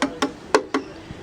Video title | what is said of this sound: 09 Project Violin Part 2 Sanding Day 3 | when you tap it the sound is consistent so I know I've done the right thing I haven't changed that sound